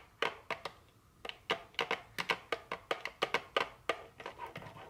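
Very long fingernails tap a small printed cardboard chocolate candy box, first while it is held and then as it rests on a table. About nineteen quick, dry, bright clicks land in an uneven rhythm, each dying away almost at once over near silence.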